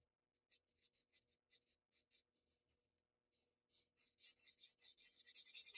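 A paper blending stump rubs the graphite-shaded areas of a drawing on a flat sheet of Bristol paper in repeated strokes. Each stroke makes a quiet, bright, scratchy swish. The strokes come in short separate bursts, pause briefly, then return faster and louder in a near-continuous run.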